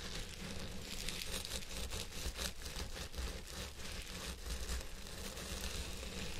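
Fingertips of both hands rub and scratch the fibers on both sides of a purple synthetic wig set on a head form. The result is a steady, dense crackling rustle, bright and hissy, with a low hum beneath it and no distinct separate strikes.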